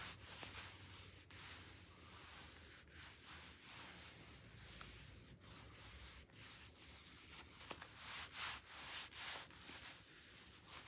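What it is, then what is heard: Leather gloves rubbed together. A pair of thin black leather gloves worn on both hands is rubbed together, with the fingers flexed against each other. It makes continuous soft, bright leather rubbing and creaking with swishing strokes, and a few louder swells near the end.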